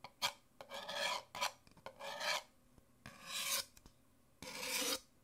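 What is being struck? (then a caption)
Paper cup. Fingernails scratch and tap the outer printed wall of an empty white Nespresso paper coffee cup, held upright in one hand, its thin hollow walls giving a dry, papery tone. Long bright rasping scrape strokes alternate with short, sharp clicking taps in an uneven rhythm, and each sound stops quickly with no ring.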